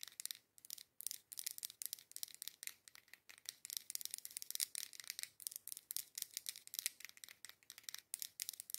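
A dark-green, labeled matte green glass candle jar filled with candle wax is held in both hands while long acrylic nails tap quickly on its front surface. The result is quiet, rapid bursts of bright, crisp clicking with almost no low end and very little ring after each tap.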